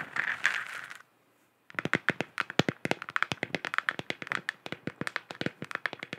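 Long nails tap rapidly on a hollow, galaxy-printed plastic moon lamp sphere. A second of dense scratchy rustling and a brief silence lead into a fast run of short, dry, clicky taps that fade almost instantly, bright with a midrange center.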